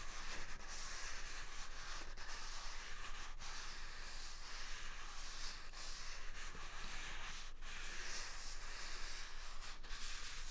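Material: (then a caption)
Paper. A full white embossed paper toilet roll is held in both hands close to the microphone while its outer surface is rubbed with palms and fingertips. The result is a steady, soft scratchy rustling with a bright hiss, over a faint low hum.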